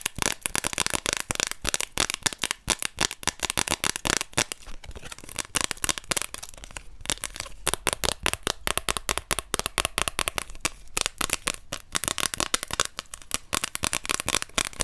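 A thin orange plastic card held in the fingers is tapped and scratched with long nails while its edges are flicked. The result is a dense, continuous run of sharp, bright clicks and crackling scrapes with almost no ring, concentrated in the high frequencies.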